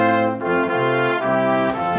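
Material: Nothing is struck.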